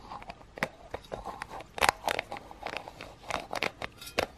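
A blue metal aerosol spray can with a blue plastic cap, hollow and pressurized with an unknown fill level, is held in both hands while short fingernails and fingertips tap and scratch the can body and cap, possibly clicking the plastic lid. The result is a quiet, irregular run of light, dry taps and scratchy clicks with a bright, crackly edge and almost no ring after each touch.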